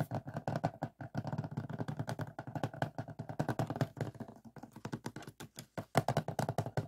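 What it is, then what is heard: Plastic DVD case. Short fingertip nails tap and scratch the front cover of a closed hard plastic DVD case with a printed cover sleeve, lying flat on a table. Around forty quick, dull, hollow clicks come in rapid uneven bursts. Each is low-pitched and dies away almost at once, with little high-end brightness.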